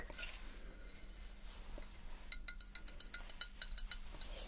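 A medium-sized hollow ceramic wax melt burner covered in silver mirrored glass mosaic tiles, with its tealight opening empty, is tapped with long manicured nails. Quiet, faint rustling gives way to a run of short, bright clinks, each dying away almost at once over a low background hum.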